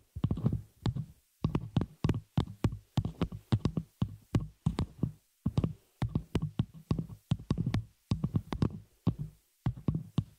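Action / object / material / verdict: tap / metal spider-cage microphone shock mount / metal / none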